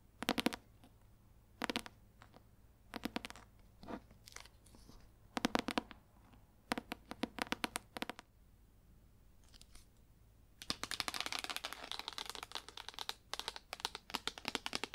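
Long acrylic nails tap and scratch on the cover of a solid green leather-bound hardcover book with gold embossing. Short bursts of rapid, crisp clicking taps are separated by brief pauses. Near the end they give way to a steady, bright scratching across the cover.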